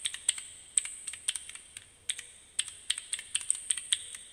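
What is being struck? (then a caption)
Plastic keycap fidget cube. A small plastic fidget cube fitted with keyboard keycaps, held in both hands, is clicked rapidly by fingertips and nails. About twenty quick, sharp, bright clicks come in uneven bursts with brief pauses, each snapping off instantly with almost no ring or low end.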